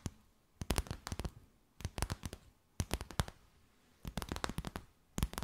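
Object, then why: Stiff plastic bag. A clear, stiff, empty plastic bag with a few gold specks, held stretched between both hands, is tapped and crinkled with long white nails. Quick clusters of sharp, crisp taps and crackles come in short bursts, separated by near-silent pauses. Each tap is dry and bright, with no ring after it.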